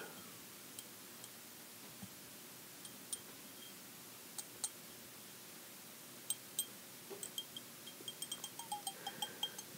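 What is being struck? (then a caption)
Glass tumbler and glass stirring rod. A long twisted green glass stirring rod taps and clinks against the rim and inner wall of a hollow, empty green glass tumbler or candle holder held in hand. Twenty light, sparse taps start slowly and speed into quicker clusters near the end, each giving a short, bright glassy ping over a quiet background.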